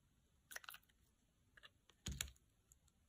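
A solid, dry pale green bar of soap is held in the hand and sliced into thin slabs with a utility knife blade. Short, crisp crunching snaps come in two main bursts, with brighter crackles and a duller thud in the second burst and quieter ticks in between.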